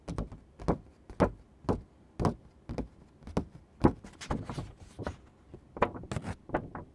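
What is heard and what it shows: Fingertips and nails tap and scratch a thin sheet of green construction card paper, then both hands lift and flex it. About 17 short, dull, irregular taps sound with almost no ring, mixed with brief scratchy rustles as the sheet bends.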